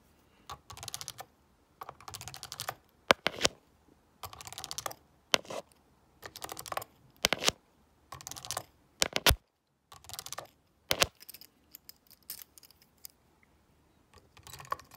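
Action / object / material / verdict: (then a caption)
scrape / plastic graphing calculator keypad / plastic / none. A stone face roller is rolled across the keypad of a black plastic graphing calculator with a hollow casing, pressing and clicking the keys. Rapid, bright plastic clicks come in short bursts separated by brief silences, with each click dying away almost instantly.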